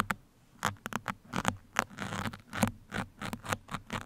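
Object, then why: Foam microphone windscreen. Two steel pins held between the fingers scratch across both sides of a black foam microphone cover. The result is a rapid, irregular series of short, dry scratching and pattering bursts, centred around 1.3 kHz with some bright edges, each dying away almost instantly. It stays fairly quiet throughout, with a low hum underneath.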